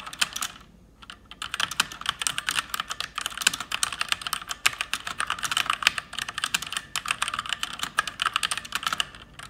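Fingertips and long nails type quickly and continuously on an RGB-backlit mechanical keyboard with plastic keycaps. The result is a dense stream of short, bright clicky taps, with a brief pause near the start before the rapid typing resumes.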